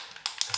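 A 2K aerosol spray paint can is shaken, and the mixing ball inside rattles with three quick, bright metallic clicks. This confirms the ball is present in the can.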